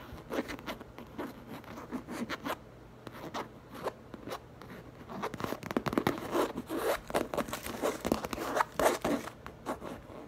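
Long nails scratch and tap the printed side panel of a large, hollow, light-blue printed coated canvas tote bag. The result is a quick, irregular run of dry scratches and short, crisp taps that swell and fade, with a brief quieter stretch in the middle.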